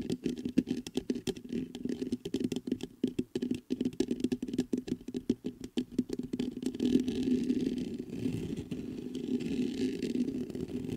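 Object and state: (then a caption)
Metal microphone grille. Fingertips tap and scratch the mesh grille of a black metal USB microphone. Rapid, dense taps and crackles fill the first six seconds, then give way to a steadier scratching rustle to the end. Throughout, a close, muffled tone centered near 258 Hz dominates, with little bright content.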